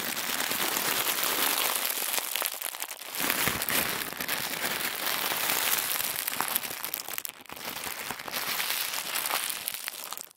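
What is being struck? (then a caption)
Thin tissue paper. A roll of thin white tissue paper is twisted and squeezed between both hands. It makes a dense, continuous crinkling and crackling that is mostly bright and high, with almost no low end. The sound briefly eases around the third and seventh-and-a-half seconds before resuming.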